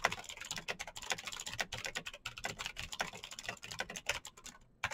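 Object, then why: Plastic mechanical keyboard. Fingertips of both hands type continuously and fast on a black plastic mechanical keyboard with green clicky switches and backlit keys. About thirty sharp, bright clicks arrive in a quick, uneven patter with very short decay. A brief lull comes near the end before one last keystroke.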